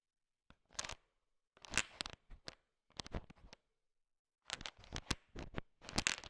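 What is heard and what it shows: A thin wooden stick stirs a large pile of small, solid, sugar-shell-coated M&Ms chocolate candies, so the candies click against each other. The clicks come in bright, crunchy, rattling bursts with short pauses and a longer silence near the middle, each click dying away almost instantly.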